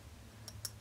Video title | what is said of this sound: WHAT THE?! Cover FX- Custom Blotting Drops for Oily Skin! | I'm like shaking it up. Oh, it's glass.